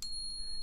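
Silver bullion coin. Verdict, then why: Real. An American Silver Eagle silver coin is tapped once, giving a bright, clear ping whose high tone rings steadily through the whole clip over a low background hum. This long, resonating ring is how a real silver coin should sound.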